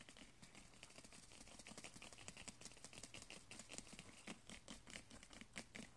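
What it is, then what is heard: Woven straw braid being scratched. Fingertips scratch and rub along a flat woven straw braid strip with pink and blue ribbon trim binding, resting on carpet. The result is a steady, dense stream of dry, crisp crackles and quick ticking scrapes with a bright, brittle edge. A faint low hum sits underneath.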